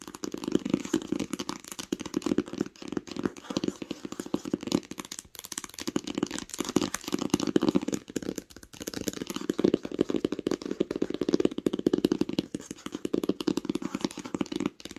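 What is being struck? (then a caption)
Hardcover book cover tapped with fingernails. Long acrylic nails tap quickly on the cover of a large, smooth green hardcover book lying flat on a blanket. The result is a dense, continuous run of dry clicking taps with a warm, hollow low-mid body, each tap dying away instantly. The taps come in bursts separated by brief pauses.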